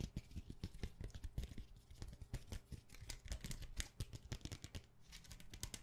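Long nails tap rapidly on a thin, clear plastic plate holding a set of rainbow-colored plastic sticky bookmark tabs, held in hand. Quick, dry clicks with a low thump and a bright tick come in dense bursts, each dying away almost instantly.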